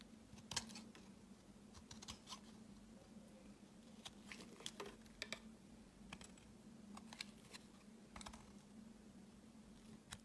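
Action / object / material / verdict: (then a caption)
scrape / bar of soap / soap / none. A utility knife blade shaves a solid pale green soap bar into hard chips, making short, crisp, bright scraping clicks in quick irregular bursts. The clicks sit over a steady low hum near 200 Hz.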